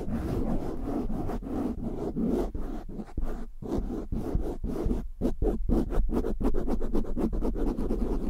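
Short nails and fingertips scratch quickly across the top and sides of a black foam windscreen on a large USB microphone. The result is a dense, close, muffled scratching with a heavy low rumble, broken by rapid bursts and brief gaps that settle into a quick, uneven rhythm.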